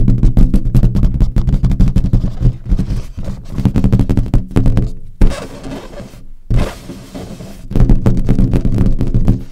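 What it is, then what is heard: Latex balloon. Long acrylic nails tap rapidly and scratch across a large, hollow, inflated green latex balloon. The taps come as a dense run of deep, booming thuds with very little brightness, and the middle stretch turns to broader, hissier scratching before the quick drumming resumes.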